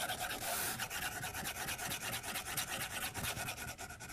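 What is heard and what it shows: A white plastic stylus tip scratches back and forth across a glass tablet screen resting on a white desk. Quick, uneven strokes make a dry, scratchy rubbing with a bright hiss and a faint mid-pitched tone.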